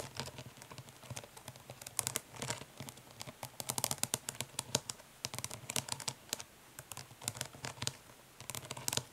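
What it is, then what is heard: Plastic eyeshadow palette. Long fingernails on both hands tap quickly and scratch lightly across the printed lid of a closed, flat, hollow plastic eyeshadow palette. The result is a quiet, steady run of bright, sharp clicks that stop almost instantly, mixed with soft scratchy rasps and a faint hollow knock underneath.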